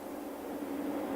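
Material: Nothing is struck.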